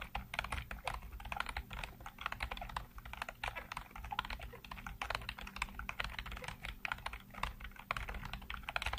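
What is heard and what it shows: Fingertips type rapidly on a black plastic computer keyboard with hollow keycaps, producing a dense, steady stream of short, bright clicks and taps with almost no ring. A constant low hum sits underneath the clatter throughout.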